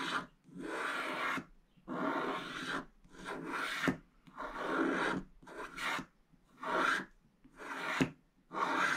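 A wooden stylus scratches the remaining black coating near the top edge of a scratch-art card page that is already mostly scratched through to purple, with heavy flake debris around it. The sound is a series of dry, rasping scratch strokes with brief silent pauses between them, broadband but centred in the mid range, with occasional sharp ticks where a stroke starts or ends.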